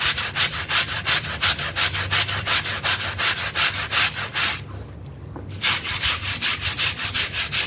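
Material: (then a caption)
Synthetic fibre. A pink and green bristle brush vigorously scrubs a wet, foamy, dirty blue synthetic pile rug. Steady, rhythmic bright rasping strokes sound about three times per second, pause for roughly a second near the five-second mark, then resume at the same pace.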